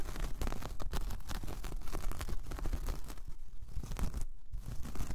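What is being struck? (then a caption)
Braided jute coaster. Long painted nails scratch across a large, flat, solid, round braided jute/straw coaster. The result is a dense, continuous, dry rasping and scratching, with rapid strokes blending together and a low, muffled body beneath the fibrous crackle. A brief, quieter gap comes near the end before the scratching resumes.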